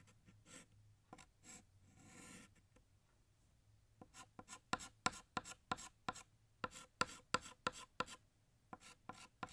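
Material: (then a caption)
Chalk. A blue chalk stick held in the fingers draws a bottle shape on a large, flat, solid black chalkboard. Short, dry scraping strokes come in an uneven rapid series, softer and rubbing at first, then sharper and louder with bright, squeaky tips.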